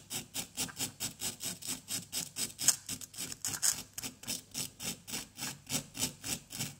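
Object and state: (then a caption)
Plaster excavation block being scraped. A small, solid orange plaster dig-kit block resting on cardboard is held steady by one hand and scraped and scratched with the pointed tip of a wooden stick. About 25 quick, bright, gritty scraping strokes follow one another at roughly four per second, with a dry rasping hiss and no lingering ring.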